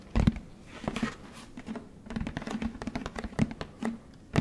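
Fingertips tap a large orange plastic Tide detergent jug with a blue cap as it is turned in the hands. A quick, uneven run of short, hollow, low plastic taps with a slight boomy resonance around 200 Hz, plus soft handling rustle between them. The louder knocks come near the start and end.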